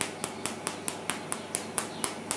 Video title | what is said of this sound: How To Make The Best Homemade Bread Recipe EVER!!!! | it sounds very Hollow and very light